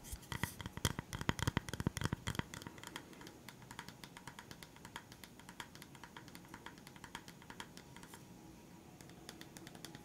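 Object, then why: Round bamboo coaster. A round, flat, solid bamboo coaster is tapped and scratched with fingertips and short nails, including along its edge. Quick, dry clicks and taps come loudest and densest in the first couple of seconds, with a low knocking body. They then settle into softer, irregular ticks over a faint scratchy hiss.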